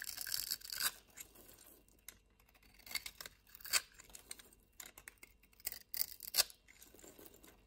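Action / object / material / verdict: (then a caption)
scrape / bar of soap scraped with a knife blade / soap / none. A yellow-handled utility-knife blade cuts and scrapes a solid white soap bar, sending white crumbs falling. Bright, dry scraping and crisp crunching come in irregular bursts, with a longer rasp at the start and sharper strokes later, separated by quiet pauses.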